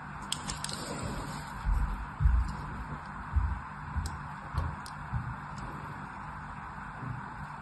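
A thin blade scores diagonal lines across a solid blue embossed soap bar held in the hand. About five soft, low, muffled scraping strokes rise above a faint steady hiss, each one short and dry with no ringing.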